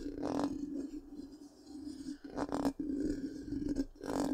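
The tip of one long pink nail scratches across the black, round, hollow metal mesh grille of a large microphone. Bursts of raspy scraping rise and fade over a steady low hum near 277 Hz, with the roughest passes near the start, middle and end.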